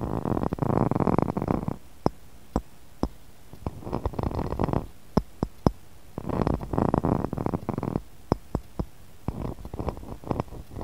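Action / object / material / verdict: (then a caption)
tap / pressed glass cup and saucer / glass / none. Fingernails tap and scratch the rim of a small, empty, clear textured pressed-glass cup sitting in a glass saucer. Stretches of dense, rasping scratching alternate with sharp, isolated clicking taps that stop almost instantly. The sound is close and fairly quiet, with a rumbling low body.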